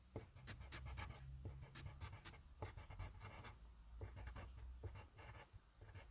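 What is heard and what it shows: A yellow wooden graphite pencil, held by a hand with long dark nails, scribbles rapid scratchy strokes across a thin sheet of grid paper resting on a desk. Bursts of dry, papery scratching rise and fall over a steady low hum.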